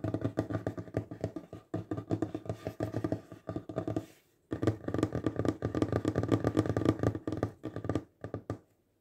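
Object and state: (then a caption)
Wooden table. Fingertips and nails tap fast on a large, solid wooden tabletop, making dense runs of short, dry, knocking taps with a warm low-mid body and almost no ring. The tapping comes in quick bursts, pausing briefly near the two-second mark and stopping fully around four seconds before resuming. It trails off near the end.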